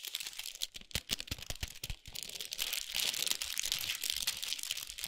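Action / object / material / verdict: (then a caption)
scrape / chocolate bar in foil and paper wrapper / foil, paper / none. Long nails tap and scratch a large foil-wrapped chocolate bar with a paper sleeve resting on a towel. Quick, sharp taps come first, then a steady bright crinkling and scratching as the wrapper is rubbed.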